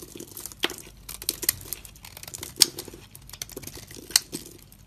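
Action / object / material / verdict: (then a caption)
scrape / bar of soap / soap / none. A box-cutter blade scrapes the crumbly coating off a dry, solid dark brown faceted soap bar with a glossy top, held in the hand, shaving it away in flakes. The scraping makes a steady, crisp crinkling and crackling, bright and high with almost no low end. A few sharper, louder snaps stand out as flakes break away.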